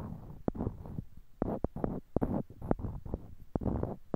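Small, solid, light-colored wooden cubes are held in pairs in each hand near a binaural microphone while fingertips click and knock one block against another. Sharp, dry wooden clicks with almost no ring are heard, separated by soft, low, muffled rubbing and handling sounds.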